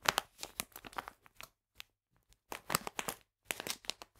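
A full plastic bag of polenta is held and turned in the hands while the fingers crinkle it. Bursts of bright, crackly crinkling come in quick clusters, with brief quiet gaps in between.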